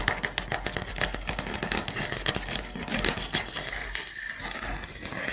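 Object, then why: Wooden block trivet. Fingernails scratch and tap along the edges and gaps of a handheld wooden block trivet. Dense, dry clicks and scrapes come in a quick, uneven stream, bright and crisp with almost no ring, over a faint steady low hum.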